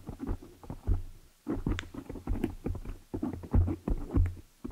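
Long nails tap and scratch with both hands on the black foam cover of a large desktop microphone head. The result is an irregular run of dull, low, muffled thumps mixed with soft scratchy rustling, with almost nothing bright above the low rumble.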